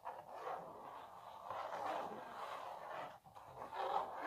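Long natural nails scratch across a small printed canvas stretched on a wooden frame, making a steady, papery rasp centered in the midrange. The scratching runs almost continuously, dips briefly near the three-second mark, then resumes a little louder.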